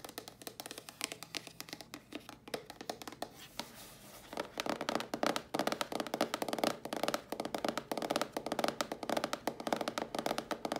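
Long nails tap rapidly on the lid and held sides of a hollow, closed, dark grey cardboard box. The taps are short, dry, and hollow-sounding, with little low end. They stay fairly soft for the first four seconds, then become louder and denser for the rest of the clip.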